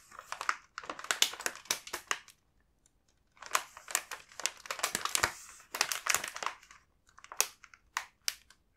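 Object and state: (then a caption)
Plastic snack bag crinkling. Fingertips rub the back of a full plastic snack bag, giving bursts of bright, dry crinkling with faint low content and a gap of near silence before the rubbing resumes.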